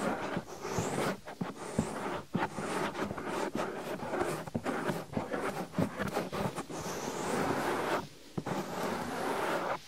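Fingertips with short nails fast-rub and scratch the molded silicone ear on the right side of a 3Dio-style binaural microphone, a soft hollow-shaped ear mounted on a white disc. The result is a dense, close, continuous rustling and scraping with crackly bursts and brief flaps, pausing in a short quieter dip near the end.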